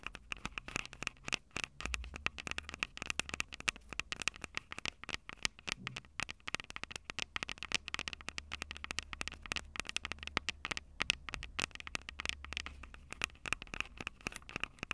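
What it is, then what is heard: Handheld audio recorder with metal mic capsules. Long purple nails tap and scratch the two metal mic capsule heads of a small Tascam DR-05 recorder with a plastic body. Dense, rapid, dry clicks and scratchy crackles fill the whole clip, bright and sharp with almost no ring, over a faint low rumble.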